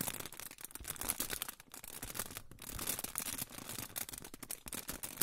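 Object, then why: Aluminium foil pouch. A hand-sized, crinkled silver aluminium foil pouch or sheet is held in front of the microphone and crinkled and rubbed with fingertips. Dense, bright crackling fills the clip in quick, sharp bursts with a brief dip midway.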